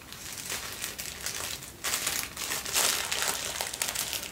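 A folded sheet of thin white tissue paper, held close, is crinkled and squeezed by fingertips. It makes a continuous, bright crackling rustle that swells louder in the second half, with no clear low end.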